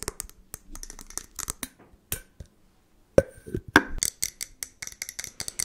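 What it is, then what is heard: Glass jar. Long nails tap quickly on the sides of a medium, clear glass jar that has a lid and label and is partly filled. Around two dozen short, bright, clicky taps come at an uneven pace, each with a faint glassy ring near 540 Hz that dies almost instantly. A brief near-silent pause falls just before the louder taps in the second half.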